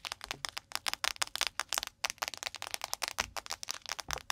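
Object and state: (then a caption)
Crinkly plastic seaweed packet. A thin, crinkly blue plastic nori seaweed packet lying on the microphone is tapped and scratched quickly with long nails. About 22 sharp, bright crinkling taps come in a fast, uneven run, each cutting off instantly with almost no low end.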